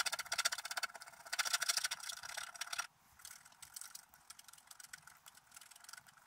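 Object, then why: Wooden stylus on coated scratch art paper. A wooden stylus scrapes the coating off a large area of a flat, black-coated scratch art sheet lying on a table, in rapid repeated strokes. The first few seconds bring dense, bright, gritty scratching. It then drops abruptly to lighter, quieter strokes.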